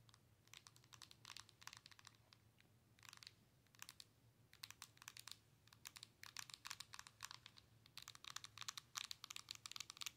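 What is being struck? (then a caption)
Handheld game console with glass screen and plastic body. Long nails tap quickly on the glass touchscreen of a Nintendo Switch handheld console with a plastic body. The sound is a quiet run of sharp, bright, clicky taps in irregular bursts that die away instantly, over a faint steady low hum.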